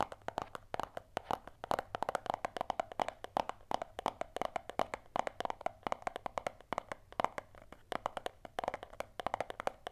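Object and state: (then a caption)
Small hollow cardboard box. A small, closed, hollow white cardboard Apple earphone box is held in both hands and tapped and scratched with long manicured nails. The result is a rapid, uneven run of short, dry, hollow clicks centered in the midrange, with faint scratching between them.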